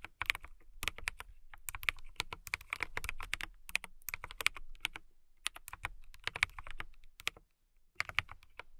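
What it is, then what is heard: Plastic mechanical keyboard. A transparent mechanical keyboard with clear plastic keycaps is typed on with fingertips and long nails. Quick, bright, clicky key strikes come in irregular bursts, each dying away instantly with a faint low thud underneath. There is a brief pause near the end before the typing resumes.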